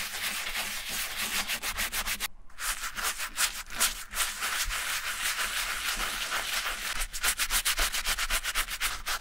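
A hand-held wooden-handled bristle brush scrubs a single hollow silver leather Repetto ballet flat, covered in shampoo foam, along its upper and sole edge. The rapid back-and-forth strokes make a bright, scratchy, hissing rub at roughly two and a half strokes per second, with a brief pause just after two seconds.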